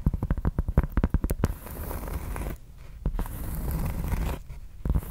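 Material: Cork.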